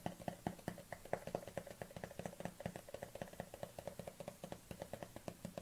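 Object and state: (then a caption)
Plastic supplement tub. Long nails tap quickly on the lid and side of a black plastic collagen supplement tub held at a tilt. About three dozen short, hollow clicks run in a steady patter, with a low resonant tone near 170 Hz and a brighter ring around 600 Hz that dies away almost at once after each tap.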